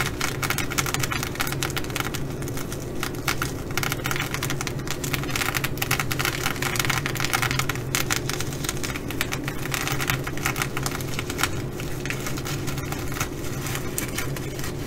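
Long glitter nails on both hands quickly scratch the flip sequins of a blue reversible sequin fabric bag. A dense, steady stream of rapid scratchy clicks and rustles runs throughout, over a constant low hum.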